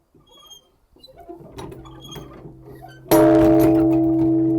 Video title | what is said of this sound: Japanese Gardens | we're just going to give it one good ring and listen to it ring out